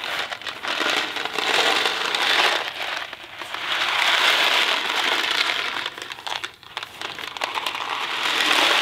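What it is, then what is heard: Cardboard box of dry macaroni. A small Kraft mac and cheese cardboard box filled with dry pasta is tapped with fingertips and then shaken in one hand. The pasta makes a dense, bright rattling and crinkling that swells and fades in long waves, centered around 3.5 kHz with almost no low end. It dips briefly near the six-and-a-half-second mark before building back up.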